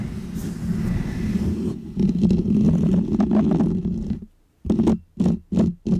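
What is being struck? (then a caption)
Foam microphone windscreen. Painted fingernails scratch a small, round, white textured foam windscreen on a microphone. The result is a low, muffled, rumbling scratch that runs steadily for about four seconds, goes quiet briefly, then returns as four short separate bursts.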